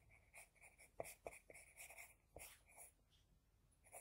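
An HB pencil scratches across a flat sheet of drawing paper while drawing a second eye. Quiet, bright scratchy strokes come in quick, uneven bursts, with a few sharper taps of the lead standing out. The strokes stop short with no ring after.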